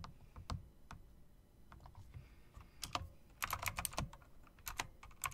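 Fingertips with long dark press-on nails type and click on a full-size, RGB-backlit, plastic and metal typewriter-style mechanical keyboard with round plastic keycaps in chrome-look rims, resting as a solid object on a desktop. Sharp, dry key clicks with a bright top and a clacky body centered near 1.2 kHz come in scattered taps, then a quicker burst of presses midway, over a low background rumble. Each click dies away almost instantly.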